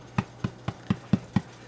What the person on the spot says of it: it sounds Hollow it's ready to go